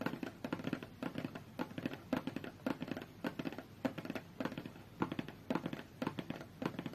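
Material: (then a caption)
Cardboard. Long fingernails tap and scratch the top and edge of a closed, hollow, medium-size white cardboard tablet box. Quick bursts of dry, clicky taps mix with rough scratching. Each tap dies out almost at once, with a hollow, papery body in the low-mid range.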